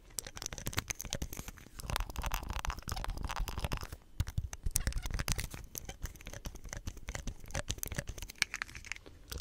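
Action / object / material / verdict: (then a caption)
scrape / plastic soap pump head / plastic / none. Fingertips press down on a hollow green plastic soap pump head with a nozzle and white stem, rubbing and tapping the plastic. The result is a dense, close stream of short dry clicks, scratchy crackles and crinkly creaks with a thumpy low body and bright edges, continuing steadily throughout.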